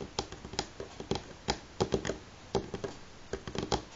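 Fingernails of both hands tap rapidly in a typing-like pattern on a solid, light wooden table top. About 17 short, dry clicks with almost no ring stand apart, some landing in quick clusters over a faint background hiss.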